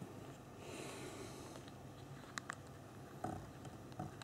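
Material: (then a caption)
Plastic. Thumbs press the keys of the backlit physical plastic keyboard on a small BlackBerry Q10 phone, typing a message. Sharp, quiet clicks stand out over a low background hiss, with two bright ticks near the middle and a fuller clack toward the end.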